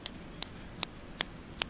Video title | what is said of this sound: $100 Stanley Jigs Unboxing | it's hollow inside uh they hollowed that out so you can stick a rattle in there